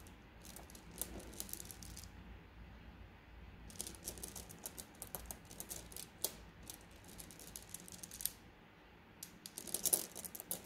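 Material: Glass.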